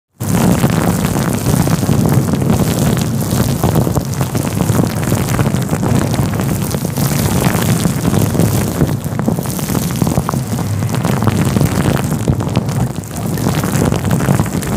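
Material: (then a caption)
Faux fur. A fluffy grey-white synthetic faux fur windscreen covering a microphone is held between both hands and rubbed and scratched with the fingertips. This produces a loud, steady, close-up muffled rumble with dense scratchy rustling that continues without a break for about 15 seconds.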